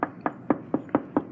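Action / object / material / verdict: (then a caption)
tap / car underbody sheet metal / sheet metal / hollow. Six quick taps on a spot of sheet metal under a car give a short, hollow-sounding knock with a pitch around 290 Hz. The spot sounds hollow rather than solid, so it should be avoided as a lifting point with a jack to prevent damage to the vehicle.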